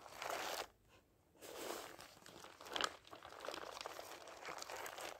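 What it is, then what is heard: Paper dictionary pages being riffled. A thick paper dictionary stands upright while a block of its thin pages is fanned and riffled by hand. A burst of dry, crinkly paper rustle gives way to a brief near-silent gap, then a steady papery flutter with a sharper crackling snap near the middle.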